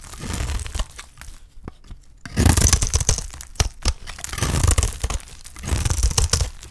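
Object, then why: Bar of soap scraped with a knife blade. A dry, solid green soap bar is held in the hand and scraped and shaved with a utility knife blade. Gritty scraping passes come in bursts, with sharp crackling ticks and a dry, crumbly shaving sound. The low body is full and the bright edge is faint.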